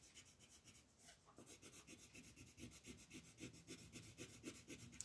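A green wooden colored pencil shades a thin printed paper coloring page in fast back-and-forth strokes, while a hand with long yellow nails holds the page flat on a wooden table. The result is a quiet, steady, rhythmic scratchy rasp with bright hiss on each stroke and a soft low rub underneath.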